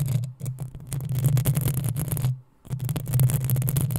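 Long acrylic nails on both hands scratch the rounded, hollow metal mesh grille of a black USB condenser microphone. The result is dense, continuous rasping with a heavy low boom around 120 Hz and bright, fizzy edges. There is a brief silent gap just before the scratching resumes.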